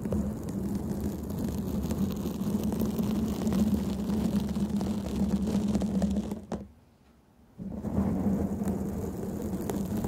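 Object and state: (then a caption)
Foam microphone windscreen being scratched. Long painted nails on both hands scratch a black foam microphone windscreen, making a dense, continuous rustling rumble with a low, steady hum underneath. The scratching stops abruptly at about six and a half seconds, leaving roughly a second of near silence, then resumes just as loudly until the end.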